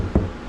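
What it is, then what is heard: Hollow drywall between studs. A single tap on drywall while hunting for a stud before hanging a mini-split bracket gives a low, dull, bouncy knock that dies away quickly. The hollow sound means the tap landed between studs, with no framing behind the wall.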